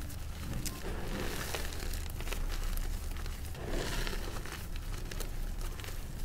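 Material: Chalk powder.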